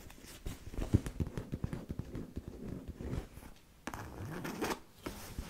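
Long nails on both hands scratch and tap the lower front of a medium-sized black monogram coated-canvas handbag, which is hollow and held upright. Quick, dull, low-pitched taps sound over soft, papery scratching. A brief pause follows before a steadier stretch of rubbing.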